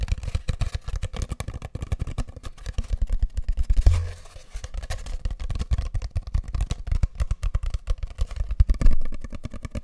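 A long, hollow, empty brown cardboard tube (a paper towel roll), held in both hands close to the mic, is tapped and scratched with fingertips and short nails. It makes a rapid, continuous stream of soft, deep, hollow thumps with a low booming resonance. Slightly heavier thuds stand out around four seconds and near the end.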